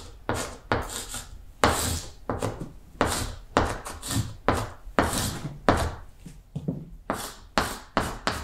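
A stick of chalk held in the fingertips is scraped across a large, flat, solid wall-mounted green chalkboard, writing Korean letters. About 16 short, separate strokes come through as dry, gritty scratches and rubs with bright, hissy tops and a soft knock underneath. Each stroke fades quickly before the next begins.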